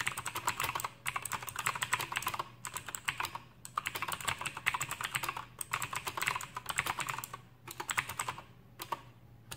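Fingertips type on an Aukey KM-G6 full-size backlit mechanical keyboard with plastic keycaps and clicky Outemu blue switches, resting on a desk. Rapid bursts of sharp, bright clicks come in quick runs separated by short pauses, each keystroke snapping and dying away almost instantly.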